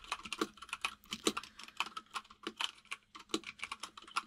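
Both hands type with their fingertips on a compact mechanical keyboard with white and grey plastic keycaps, with only the keyboard heard. A rapid, uneven stream of short, crisp key taps clacks out, each bright click dying away almost instantly, with some keys landing with a slightly deeper thock.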